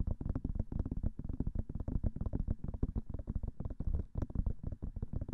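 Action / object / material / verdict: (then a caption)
tap / silicone ear of a binaural microphone / silicone / none. Long manicured nails tap fast on both white silicone ears of a binaural microphone. The result is a dense stream of short, dull, low-pitched thumps with almost no high end. Each tap dies away almost instantly.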